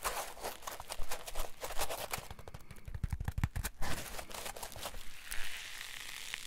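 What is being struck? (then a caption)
Polyethylene foam block. A solid green polyethylene foam block is pressed and folded with fingers on a table, then squeezed in the hand, while a metal ruler lies unused nearby. The foam gives irregular crinkly crackles and soft low thumps, and a squeezed, squeaky hiss comes in near the end.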